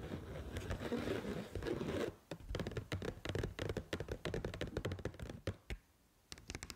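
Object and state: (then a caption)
Paper noodle cup tapped with nails. Long pointed acrylic nails scratch across the sealed lid of a small, full-looking pink printed paper Pad Thai rice noodle cup for about two seconds. They then switch to rapid, uneven tapping on the lid and rim. The taps are dull, low and papery with very short decay, and there is a brief pause near the end before a few final light taps.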